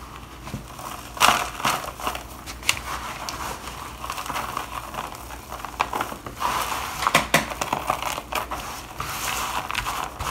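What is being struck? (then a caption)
Bar soap shavings. Two gloved hands press and crush finely crumbled dry bar soap shavings in a black plastic bowl. The result is a continuous dry crunching and crackling, with sharper bright bursts concentrated around 1 kHz and very little low end.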